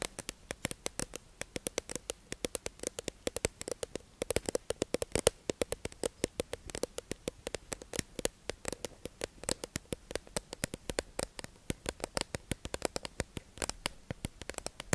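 A hollow, clear plastic tube-shaped package holding two beige makeup sponges is held in the hands and tapped and scratched with long acrylic nails. A rapid, dense stream of short, dry clicks and taps with very little ring comes through, with a hollow plastic tone around 480 Hz and bright scratchy edges.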